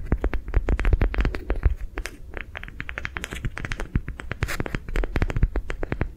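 Long nails tap, scratch and squeeze a hollow, lime green, soft ribbed rubber sensory ball held in the hands. The result is a fast, uneven stream of short, dry clicks and scratchy ticks over a soft, low thumping rumble, with no ring after each hit.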